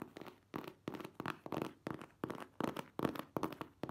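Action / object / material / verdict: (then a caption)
tap / printed cardboard box / cardboard / none. A hand-sized, hollow printed cardboard product box for a car top cover is held in the hands and tapped and scratched with long manicured nails. Short, dry, papery bursts of tapping and scratching come in an irregular rhythm, with a hollow low-mid body and a quick, ringless decay.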